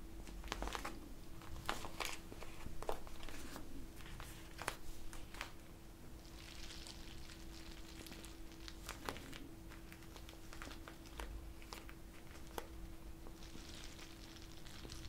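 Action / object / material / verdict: scrape / plastic bag filled with gel beads / plastic / none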